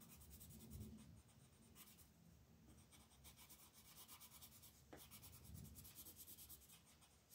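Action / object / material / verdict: scrape / colored pencil on a paper coloring page / paper / none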